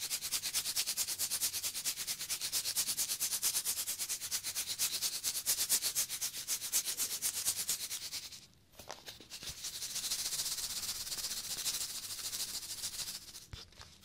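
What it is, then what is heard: Cardboard chip tube scratched. A small cardboard Pringles tube with an open foil top is scratched and rubbed with fingertips close to the mic. Quick, bright, hissy scratching strokes repeat steadily for about eight seconds, break off briefly with a few soft taps, then resume before fading near the end.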